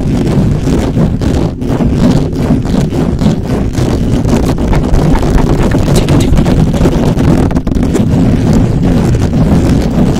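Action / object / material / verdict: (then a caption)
scrape / metal mesh microphone grille / metal mesh / none. Fingertips rapidly scratch and rub the hollow metal mesh grille of a black microphone. The result is a loud, continuous, dense rumbling scrape, heavy in the low end with a muffled texture and brief dips in between.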